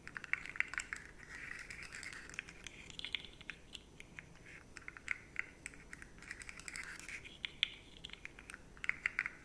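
Long fingernails scratch along the ridged segments of a rainbow, rigid plastic articulated slug fidget toy, about 20 cm long, held up in the other hand. The sound is a quiet, steady stream of dry, bright scratching and rapid ticking clicks. Each click dies instantly, with sharper accents scattered throughout.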